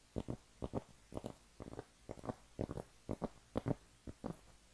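A round, flat cork trivet, a thin solid disc about 20 cm across, is held up in both hands and scratched and tapped with long painted nails. The result is a steady run of quiet, dull, low-pitched knocks that come mostly in quick pairs. Each knock is dry and short with no ring.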